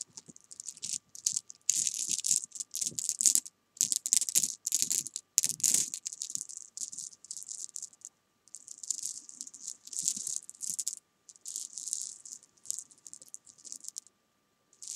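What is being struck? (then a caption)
Handful of jelly bean candies. Small solid jelly bean candies are rubbed between hands and swept with nails across fabric. They make a bright, high, dry rattle of dense clicking bursts separated by short pauses, with almost no low end. The bursts are louder in the first half and softer toward the end.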